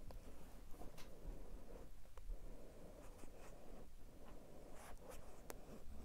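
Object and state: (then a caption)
Cardboard phone box. Long nails and fingertips scratch and tap a small, hollow, dark grey cardboard smartphone box held flat. Soft, continuous, low-heavy scratching runs throughout, with a few brief, bright tapping clicks.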